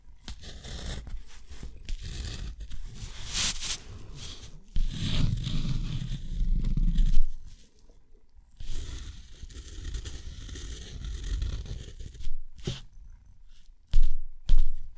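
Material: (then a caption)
Paper. A steel dip-pen nib scratches lines and loops across a sheet of thick, rough, white textured watercolor paper. Dry, rasping scrapes and rustles come in uneven strokes, with a louder, fuller stretch around five to seven seconds and a brief near-silent pause just after. Two sharp, bright strokes stand out near the end.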